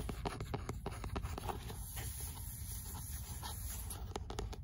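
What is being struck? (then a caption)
Paperback book with paper cover. Long nails scratch the rough page edges, back cover and front cover of an 'L'imaginaire' paperback book with a paper cover. The result is a steady, dry scraping rustle over a low rumble, broken by quick bright ticks as the nails catch the paper.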